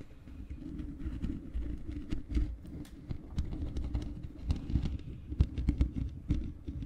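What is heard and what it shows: Long fingernails scratch and tap the bare black metal mesh grille of a large hollow microphone. The result is a dense, low, boomy rumble of scratching, broken by repeated short, dry taps with sharp, bright clicks that stop almost instantly.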